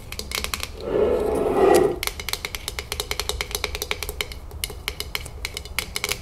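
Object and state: Full glass jar with metal lid.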